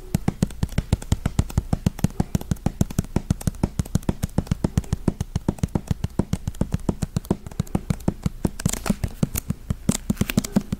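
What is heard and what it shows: A thick hardcover paper book with a dust jacket and a solid block of pages is tapped quickly with fingertips and nails on the cover and spine. The result is a fast, steady run of dozens of short, dry, low thuds with almost no ring.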